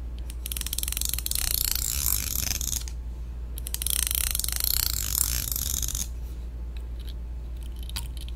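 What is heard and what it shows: A long, solid, thin black plastic hair comb is held upright in one hand while the pointed tail of a second black plastic comb scrapes along its teeth. This makes two extended bursts of bright, rapid ticking rasps, followed by a few sparser clicks over a steady low hum.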